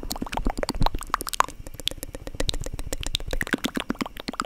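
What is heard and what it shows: Long dark acrylic nails tap and scratch the textured crust of a solid, spongy foam squishy bread loaf about 20 cm long. A rapid, continuous stream of soft, muffled taps and crackly scratches is heard, with a dull low body and short bright clicks. Each tap dies away almost instantly.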